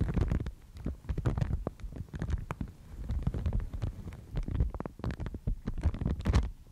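A thin, fibrous white Thai mulberry paper sheet is held in both hands and bent and crinkled by the fingers. Dense, irregular crackles and soft rustles run throughout, with a heavy low rumble under quick, bright snaps.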